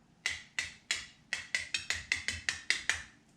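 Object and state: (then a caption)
Sealed canning jar lid. Metal lids on cooled dill pickle canning jars are tapped to check the seal, giving 12 sharp, bright clicks with a ringing tone near 1.8 kHz that dies away quickly. The clear ring, rather than a dull thud, shows the jars are sealed.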